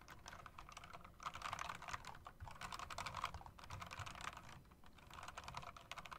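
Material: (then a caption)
Plastic. Both hands with long dark nails type continuously on a mechanical typewriter-style keyboard with round plastic and metal-rimmed keycaps. The result is a quick, steady stream of short, dry clicks with a bright, clacky tone centered around 1 kHz, over a faint low rumble. The typing comes in bursts, with brief dips between runs.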